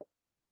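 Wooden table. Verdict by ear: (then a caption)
Rigid. A single quiet knock on a rigid wooden table, struck to show how rigid wood is. It gives a short, dull midrange thud centered near 600 Hz that dies away almost immediately, leaving only faint background hiss.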